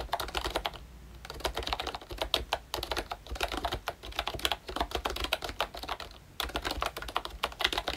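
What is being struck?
Plastic membrane keyboard with round keycaps.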